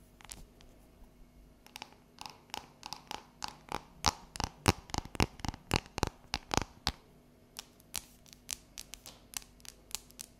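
Long yellow nails tap and scratch the embossed squares of a solid, unwrapped, palm-sized dark chocolate bar. Around thirty sharp, bright clicks come at an uneven pace, densest and loudest in the middle, with faint scratching between them. Each click stops dead with no ring.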